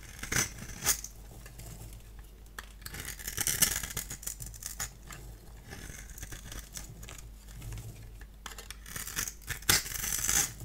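A multi-blade cutter scrapes and scores the surface of a solid orange bar of soap held in the hand, shedding fine crumbs. Dry, bright scratching and crisp crackling strokes come in uneven bursts, with a few sharper scrapes standing out, over a faint steady low hum.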